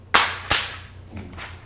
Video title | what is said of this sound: 고분자공학입문2강. 고분자는 우리의 생활 어디에서 사용되고 있을까? | 빳빳 하죠 필름인데 아주 금속 금속 소리가 나는 거예요